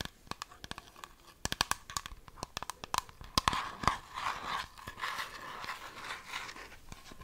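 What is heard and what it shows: Long fingernails tap and scratch a partly full, clear plastic argan oil bottle with a printed label and brown cap, held in both hands. Quick, sharp plastic taps with a hollow, mid-pitched click come first. They give way to a denser stretch of bright, crinkly scratching over the surface.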